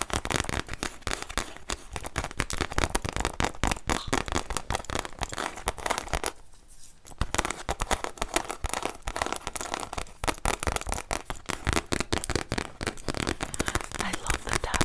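A solid, brown leather-bound journal with an embossed tree design has its cover tapped and scratched with long nails. Rapid, dense scratching and tapping runs throughout, pausing briefly to a near-quiet moment around the midpoint before resuming.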